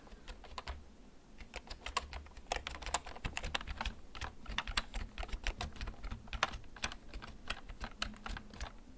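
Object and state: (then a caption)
Plastic mechanical keyboard. Fingertips press the keys of a black plastic backlit mechanical keyboard, held at angles close to the recorder. The unhurried typing makes a steady run of short, bright, dry clicks over a soft low rumble.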